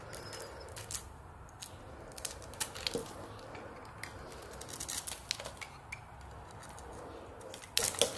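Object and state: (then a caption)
Soap bar being scraped with a blade. A utility knife blade scrapes and peels thin layers off a hand-held, hand-sized oval bar of soap with a glossy dark red coating. Crisp, bright scraping and ticking strokes come in irregular bursts over a soft, steady hiss. The cuts grow louder and denser toward the end.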